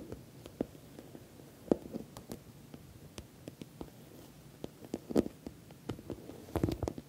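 Long nails tap the top edge and sides of a medium, glossy orange patent vinyl (PVC) cosmetic bag that is soft-sided, appears stuffed or filled, and has a metal logo plate. The result is a quiet, irregular patter of short, dull, low-mid taps and clicks, with a few sharper ticks and a denser, louder flurry near the end.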